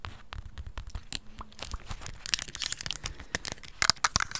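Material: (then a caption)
Plastic. Long red acrylic nails tap and scratch on black plastic over-ear headphones with hollow earcups and headband, held close to the mic. Quick, dry, bright clicks and scratchy crinkling sounds run in an irregular stream. Sharper, louder taps stand out toward the end over a soft, low rustle.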